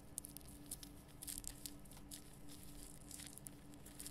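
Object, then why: Rock salt lamp. Long painted nails scratch and tap the rough surface of a large, illuminated pink Himalayan rock salt lamp, a solid crystal body with a bulb cavity inside, held between both hands. Short, bright crackling scrapes and clicks come in quick bursts over a quiet, steady low hum.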